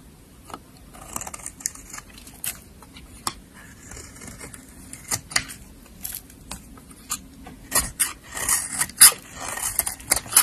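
A black-handled utility blade scrapes and shaves thin curls off the surface of a solid yellow soap bar held in a hand with long nails. Crisp, bright scraping strokes come at an uneven pace over a faint hiss, with little low end. The cuts grow louder and denser toward the end.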